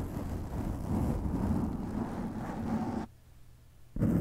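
A black foam windscreen over a microphone is cupped, rubbed and scratched with the fingertips of both hands, producing a dense, muffled low rumble with scratchy crackle. The noise cuts out to a faint hum for almost a second, then returns loud at the end.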